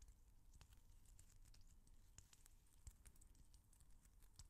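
A small, hand-sized translucent rubber stress ball filled with colorful water gel beads, solid and squishy, is held close to the mic, squeezed with the fingers and patted with the palm. The result is a quiet, steady stream of soft, low squishing, dotted with many quick, bright, crackly taps and clicks that die away almost at once.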